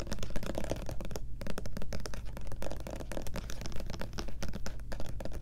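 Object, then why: Plastic lotion bottle with pump cap. Long nails rapidly tap and scratch the front label of a medium white plastic Lubriderm lotion bottle with a pump cap, apparently full and held in the hands. The result is a quick, dense run of soft, dry clicks and scratchy brushes over a steady low hum.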